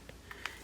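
Three quick, dry taps on a second 36 cm doll made of thick, solid vinyl produce short, bright knocks centered around 1.75 kHz that die away almost instantly. The doll is judged to be good quality, durable and not cheap.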